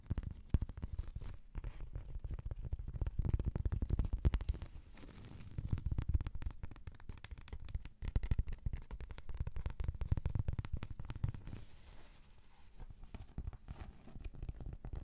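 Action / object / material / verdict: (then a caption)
scrape / round cork trivet / cork / none. Long acrylic nail tips scratch across a large, thin, solid round cork trivet, which is turned slightly edge-on partway through. The result is a dense run of rapid, dry scratching strokes with a deep, muffled, rumbling tone and almost no bright content. The scratching pauses briefly around the middle before continuing.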